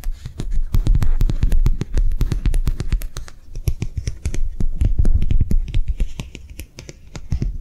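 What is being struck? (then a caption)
Thin flexible plastic sheet. A thin, flexible, translucent white matte plastic sheet, held in the hands, is tapped and scratched quickly with long nails. The result is a rapid, uneven stream of short, dry clicks, each with a dull low thump and a sharp bright tick that dies away almost at once.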